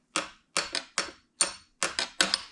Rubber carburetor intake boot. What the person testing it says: They are hard as rocks.